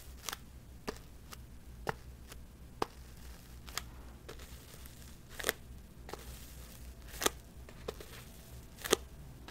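Long metallic false nails tap and scratch a small, hollow white cardboard box, giving twelve sharp, dry clicks spread unevenly over a low, steady background hum. Each tap is brief with no ring and a bright, papery edge, and a few land as louder, scraping strikes.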